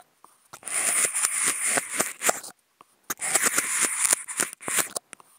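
Two toothpicks fitted with contact mics, held in both hands, scratch and poke the ribbed edge of a hollow, empty white polystyrene foam food container. Two bursts of dense, bright, squeaky scratching and crackling are broken by sharp pokes and clicks, with a short near-silent pause between them. Each sound stops dead with no ring.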